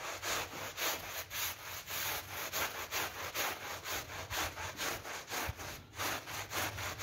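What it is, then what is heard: Vinyl coil door mat being scrubbed. A small brush, held in a green rubber glove, scrubs back and forth across a wet, soapy pink PVC vinyl coil (loop) door mat lying on the floor. The result is a steady, rhythmic run of bright, scratchy rubbing strokes, about two per second, each one a hissy swell.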